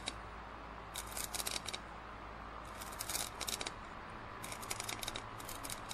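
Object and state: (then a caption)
Plastic drinking cup. Fingernails scratch and tap the side of a large, hollow, printed plastic cup near its base while it is held tilted. Three clusters of bright, crackly scratching and quick clicks stand out over a steady low hum, each tap dying away almost instantly.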